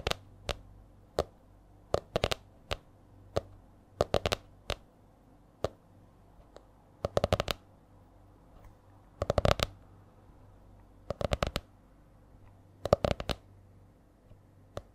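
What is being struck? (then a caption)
Spiral notebook with stiff laminated cover. Long nails tap and scratch the stiff laminated cover of a purple A4-size spiral notebook. Sharp, brief clicks with bright tops ring only a moment, some landing singly and others in quick bursts, in a changing, uneven rhythm over a quiet, steady background.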